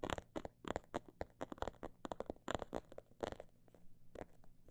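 Long black nails tap and scratch on a small snakeskin-print faux leather pouch held in both hands. The sound is a quiet, irregular run of short, dry taps and scratchy crinkles that stop almost instantly. Some come in quick clusters and others are spaced apart.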